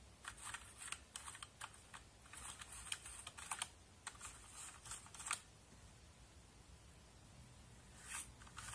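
A small brush scrubs across a backlit mechanical keyboard with plastic keycaps while a hand sweeps over the keys. Quick, bright scratching and clicking bursts come in a dense cluster for about five seconds, then quiet low noise, with one more brief scrape near the end.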